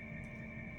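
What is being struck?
Nothing is struck.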